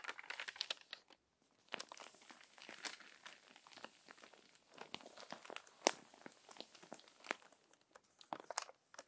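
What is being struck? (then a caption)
Paper magazine. Hands with long nails smooth the crinkled pages of a crumpled paper magazine with their fingertips and turn a page. Bright, dry crinkles and crackles come in dense bursts with a short lull, then a sharp papery snap stands out near the middle. The sound is quiet and close, with almost nothing in the low end.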